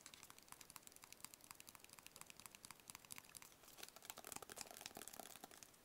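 A small, hollow, black rigid cardboard gift box held in both hands is tapped and scratched with fingertips and nails. The result is a quiet, steady stream of quick, dry, bright clicks and crinkly scratches with almost no low end. The taps grow a little louder and denser near the end.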